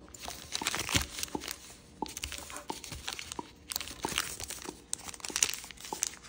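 Blue wave-printed origami paper is folded by fingers, lifted and creased in the hand. It gives a run of quick, bright crinkles and sharp paper snaps with little low end, in short bursts separated by quieter pauses.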